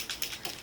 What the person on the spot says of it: Can you hear that? It's got that little mixing ball in it.